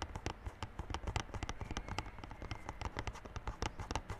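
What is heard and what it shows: Fingertips tap quickly on the clear plastic wrap covering the front face of a small yellow cardboard Realme Buds Classic earphone box lying flat. The steady, rapid tapping makes dull, low thuds with brief crinkly clicks on top, each dying away almost at once.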